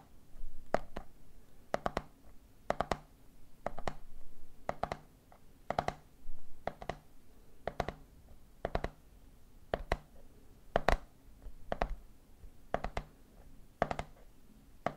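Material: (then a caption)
Plastic. A hand grips and taps the body of a medium clear plastic jar full of peanuts, then fingertips tap its red plastic lid. The result is short, dry plastic taps falling in quick clustered groups at a steady pace of roughly one group per second. The taps have a mid-pitched knock, no ring, and a soft low hum beneath them.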